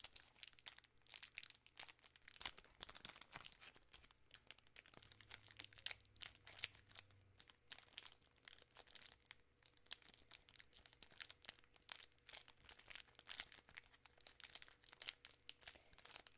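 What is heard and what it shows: A full, large 3 Musketeers bar in a sealed plastic film wrapper is held in both hands and crinkled by fingertips and long painted nails. The result is a steady stream of soft, dense, bright crinkles and crackles, with quick sharp snaps that stop short and almost no low end.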